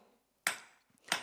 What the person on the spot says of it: c'est un peu plus mat qu'une une enclume médiévale